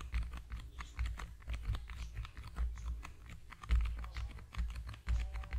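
A small, long, narrow, hollow cream-yellow cardboard product box is held in both hands over a foam-covered microphone and tapped rapidly with the fingertips. The result is a steady patter of soft, hollow, low thuds with faint clicky tops, each dying away quickly.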